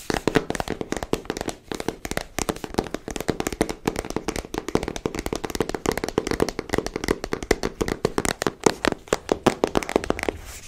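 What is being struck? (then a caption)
Small cardboard card deck box. Long nails tap rapidly across the faces and edges of a small pink printed cardboard card deck box held in hand. The result is a continuous run of dry, short clicks with a hollow midrange body and almost no ring.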